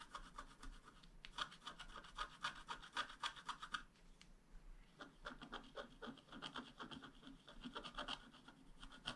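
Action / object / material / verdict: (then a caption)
scrape / black-coated scratch-art paper card, wooden stylus / coated paper / none. A flat black-coated scratch-art card, held flat by one hand, is scraped with a wooden stylus in short strokes. The strokes make quick, uneven dry scratches with a bright rasping edge, about four per second. There is a quieter lull near the middle before the scraping picks up again.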